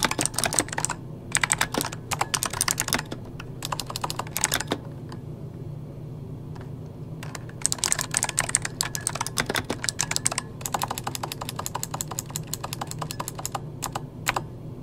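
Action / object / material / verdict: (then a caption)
tap / plastic mechanical computer keyboard / plastic / none. Fingertips of both hands type rapid key taps on a full-size backlit mechanical computer keyboard with plastic keycaps. Bright, sharp clicks come in fast bursts with a quiet pause in the middle, over a faint steady low hum. Each tap dies away almost instantly.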